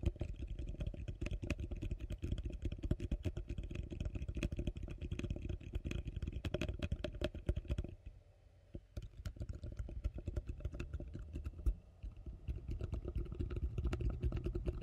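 A large, hollow, empty yellow plastic bowl is held upside down close to the microphone and tapped and scratched on its outer surface with long fingernails. The result is a rapid, dense stream of short, dry taps with a deep, boomy low end, mixed with bright scratching clicks. The sound pauses briefly near the eight-second and twelve-second marks before the tapping resumes.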